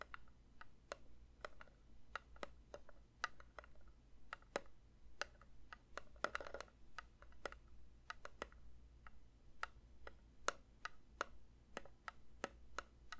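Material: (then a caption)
Metal. A metal candle tin is lightly tapped with the fingers, giving a steady series of short, dry clicks with a ringing tone around 1.3 kHz and bright edges. Each tap dies away almost instantly over a faint low hum, with a brief cluster of quicker taps near the middle.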